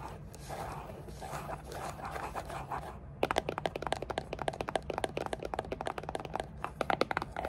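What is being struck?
Rigid paper-covered cardboard box.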